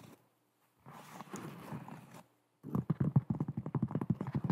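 A hollow, empty white molded foam slip-on shoe with holes is held up and turned in the hands while long nails scratch across it, making a soft rustling scrape. A short pause follows, then about eighteen quick, dull taps with a low thud and no ring.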